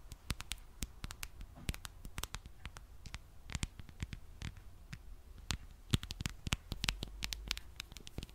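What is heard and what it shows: Fingernails tap and scratch the back and edges of a smartphone in a dark plastic case with a popsocket. A quiet, irregular stream of sharp, dry clicks and brief scratches cuts off instantly, over a soft low rumble.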